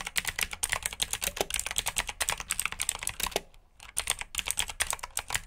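Both hands type quickly with their fingertips on a black plastic RGB mechanical keyboard with blue switches. Dense, bright clicky keystrokes run throughout with a brief pause near the middle.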